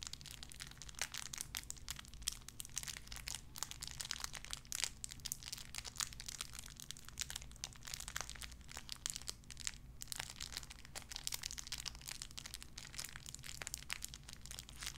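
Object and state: Crinkling plastic wrapper.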